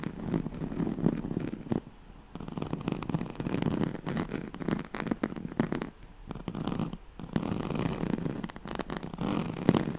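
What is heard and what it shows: Long nails scratch the ribbed surface of a yellow striped woven oval pad made of straw-like fabric. The result is a rapid, continuous run of dry, rasping scrapes with a low body and almost no high content, broken by a few short pauses.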